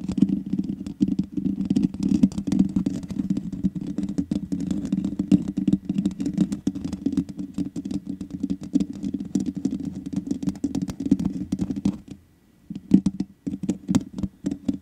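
Long nails tap rapidly on the hollow metal mesh grille of a black microphone, making dense, quick, clicky taps over a steady low rumbling hum. The tapping breaks off into near silence for about a second just after the 12-second mark, then resumes in sparser bursts.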